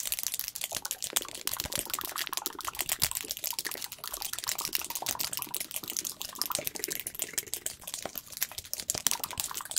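Long pointed acrylic nails rapidly tap and scratch a medium cylindrical plastic tub of chlorella powder with a green plastic lid, hollow and partly full, held close to the microphone. The result is a fast, continuous stream of crisp, bright clicks and scratchy rasps with almost no low end and no ringing after each hit.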